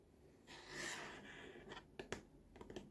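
Fingertips and short nails scratch along the side of a large, hollow, green molded plastic baby walker tray with a Lucky Baby logo, making a soft, hissing rasp for about a second. This is followed by six quick, light taps with a dull plastic knock. The sound is quiet and close, and each tap dies away almost at once.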